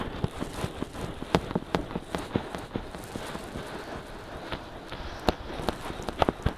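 Fingertips scratch quickly on both soft silicone ears of a binaural microphone. The result is a rapid, uneven series of short, dry scratchy bursts with a muffled low rustle and occasional sharper crackles.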